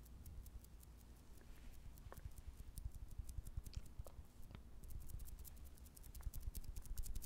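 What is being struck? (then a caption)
Soft jelly candy. A small, clear green jelly candy with colored fruit pieces inside, solid, soft and wobbly, is held close and tapped and squeezed with fingertips and nails. The result is a steady stream of quiet, muffled taps and soft squishes over a low hum, with faint bright clicks throughout.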